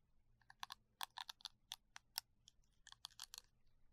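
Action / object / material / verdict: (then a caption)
scrape / silicone bristle brush head / silicone / none. Gloved fingertips scratch and rub across the short, dense silicone bristles of a small round brush head on a green cylindrical plastic holder held in the other hand. Fourteen quick, dry, crackly scratches stand out above a faint low background, each bright and high-pitched and dying away almost instantly.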